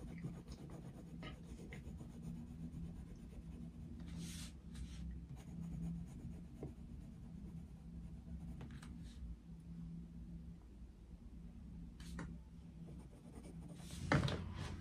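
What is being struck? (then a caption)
Coloured pencil on a paper colouring book. A dark wooden coloured pencil shades a picture of Mickey Mouse in an open paper colouring book on a desk, making repeated soft scratching strokes over a steady low hum. Brief bright scratches break through now and then, with a louder burst of strokes near the end.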